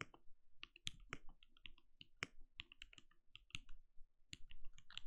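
Rapid key taps on a compact, backlit mechanical keyboard with plastic keycaps and a translucent glowing case, typed with the fingertips of both hands. The quiet, steady run of short, dry clicks pairs bright upper clatter with a soft low thock under each keystroke, and every tap dies away almost at once.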